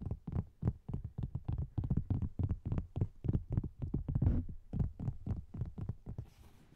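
A thin, flat agglomerated cork board is held horizontally over the microphone while its top surface is tapped with fingertips and nails. About 29 quick, uneven taps land as soft, dull, low thumps with little ring. The tapping fades toward the end into a faint, airy hiss.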